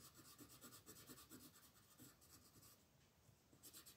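A light green wooden colored pencil shades a flat paper coloring book page in small rubbing strokes near a dragon, with the other hand resting flat on the page. Quiet, bright, scratchy strokes repeat in a steady back-and-forth rhythm, fade briefly near the end, then pick up again.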